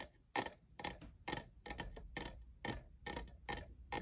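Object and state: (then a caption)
Plastic studded tumbler. Fingernails tap the faceted side of a tall, hollow lavender plastic jeweled tumbler that appears empty. Bright, clicky taps come in quick clusters with short gaps between them, at an uneven pace. Each tap dies away almost at once, with a light hollow knock beneath it.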